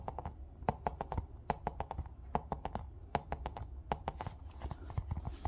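A small hollow yellow plastic ball with a seam line is held in the hand and tapped and rubbed with fingertips and nails. Quick, irregular light taps each give a short, dry hollow knock that dies away almost at once, over a steady low rumble. Toward the end, soft, breathy scratching from the rubbing mixes in between the taps.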